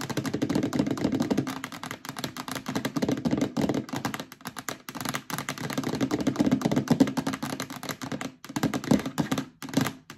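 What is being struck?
Plastic storage bin.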